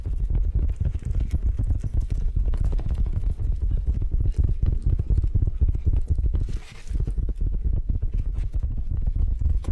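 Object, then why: Felt laptop bag. Long nails tap and scratch the felt surface of a large grey felt laptop bag with handles, flat and hollow, held upright close in front of the mic. The result is a fast, uneven stream of soft, muffled thumps that are almost entirely low-frequency, with a brief lull just before the seventh second.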